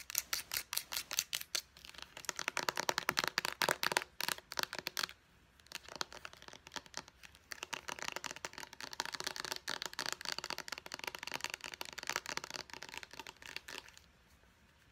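Long nails tap and scratch rapidly on a small white plastic pump bottle, its body and its purple pump top. The result is a fast stream of dry, bright, clicky taps with a brief lull around the five-second mark before the tapping resumes and fades out near the end.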